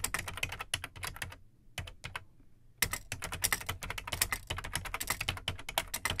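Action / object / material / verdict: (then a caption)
tap / plastic computer keyboard / plastic / none. Fingertips type on the plastic keycaps of an Amstrad CPC 464 home computer, which has a large hollow black plastic case. Rapid, bright, clacky keystrokes ring briefly over a low hollow thump. The typing pauses briefly and thins out before resuming as a denser, louder run of strokes.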